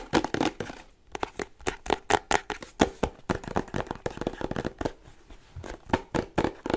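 Fingernails tap rapidly on the top edge and sides of a small printed cardboard charger box held upright. The result is a fast, uneven run of short, dry, hollow clicks with a papery crinkle and no ring after each tap.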